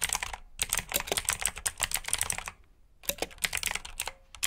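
Fingertips type on a black plastic RGB mechanical keyboard with blue switches, producing rapid, bright, crisp clicks. A short pause comes midway before the typing picks up again. Each keystroke is a sharp, dry click that fades almost instantly.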